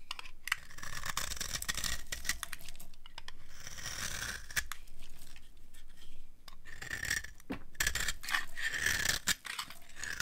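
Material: Soap.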